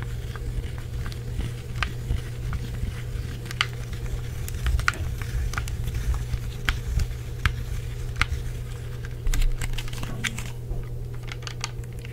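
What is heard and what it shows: Fingertips and nails tap and click the face buttons of a hollow black plastic Xbox 360 wireless controller. Quick, sharp, bright plastic clicks come in an irregular stream over a steady low hum, each click dying away almost instantly.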